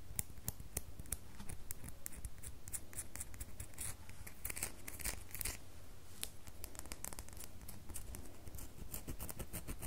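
A small, solid red bar of soap held in the hand is scraped with long fingernails, leaving shavings. Rapid, crisp scratching clicks with bright edges repeat throughout over a steady low hum.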